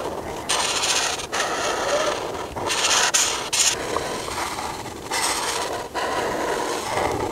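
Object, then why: Felt-tip marker on a thin paper sheet. The felt tip of a white marker, held in a hand with long painted nails, rubs across a single thin paper sheet printed with a dress outline on a table in coloring strokes. About six bursts of bright, hissy scratching rise and fall in turn, with almost no low end.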